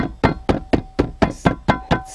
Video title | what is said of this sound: Tutorial izolat fonic stalpii de plastic dintre usi la Logan | Nici nu trebuie să dau tare și se aude ce gălăgie face